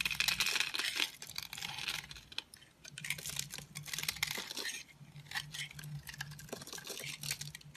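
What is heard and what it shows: A green-handled utility knife scrapes crumbly shavings off a dry, solid rectangular peach-orange bar soap embossed "Essense & Co". Rapid, irregular dry scraping and crumbling sounds come in bright, hissy bursts with a faint low hum underneath.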